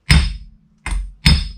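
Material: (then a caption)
Steel. Three taps on a steel wheel bearing race driven into a Mercedes W124 front wheel hub, each a solid low thunk with a short bright ring that fades within a fraction of a second. The firm, even sound shows the race is fully seated.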